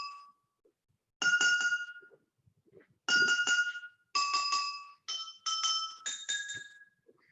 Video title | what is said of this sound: Chai and Why? May 31, 2020: Just a Glass of Water | the sound that you get when you tap the glasses depends very much on